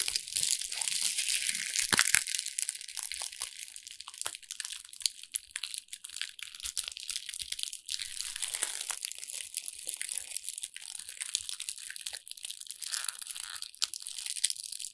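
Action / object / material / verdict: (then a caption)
scrape / small ball of thin wrapping paper / paper / none. A small crumpled ball of thin brown wrapping paper is squeezed and rubbed between fingertips and long red nails. The result is a steady, dense stream of dry, bright crinkling and crunching with no low end.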